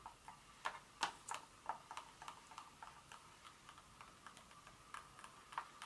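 Long nails on both hands tap the surface of a solid dark chocolate bar lying on foil on a carpet. About fifteen quiet, short, clicky taps come at an uneven pace, with a hollow mid-pitched tone near 800 Hz, a bright edge, and almost no low end. Each tap dies away almost at once.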